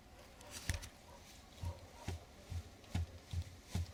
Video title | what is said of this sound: Где живёт стук в передней подвеске газели | должно быть слышно глухой звук